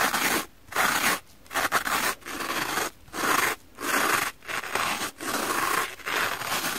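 A knife blade is scraped repeatedly across the green abrasive scouring side of a wet, soap-lathered kitchen sponge with a pink foam base, held in one hand. Each stroke is a harsh, bright, gritty scratching rasp. The strokes come in bursts separated by short, quieter pauses.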